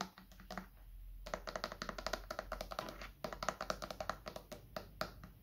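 A medium, hollow white plastic bottle is held upright and tapped with the fingertips on its top and cap area. The result is a quick, irregular series of short, dry, hollow taps with a mid-range tone around 630 Hz, each dying away almost at once.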